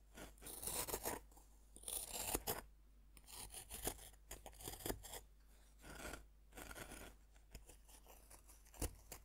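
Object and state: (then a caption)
Bath bomb scraped with a fork. A metal fork's tines scrape across the surface of a solid, dome-shaped pink bath bomb of pressed powder, resting on a wooden board and steadied by hand. Repeated bursts of dry, gritty scratching and crunching with a bright hiss are separated by short pauses over a faint low hum, and a sharper scrape near the end.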